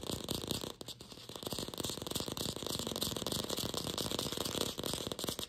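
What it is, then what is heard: Fake plastic apple. Long pink fingernails tap quickly on a glossy red artificial apple, apparently hollow plastic. The result is a dense, steady stream of sharp, bright clicks with almost no ring, briefly softer just before the one-second mark before returning to full pace.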